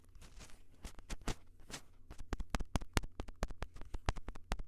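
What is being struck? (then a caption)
Plastic handheld audio recorder. Fingertips tap and touch the mic head and hard plastic body of a small Tascam handheld audio recorder with metal mic capsules. A quick, irregular run of short, dull, bass-heavy thumps with brief bright clicks plays over a steady low hum, and each tap dies away almost at once.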